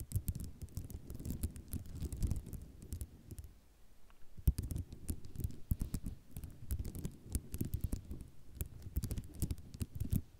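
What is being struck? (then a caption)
Ceramic mosaic tile sheet. Long nails tap, scratch and rattle across a flat sheet of white ceramic mosaic tiles, making dense, quick clicks with a dull, low body and brief bright ticks. A short quiet pause falls just before the middle, then the rapid tapping and scraping resumes.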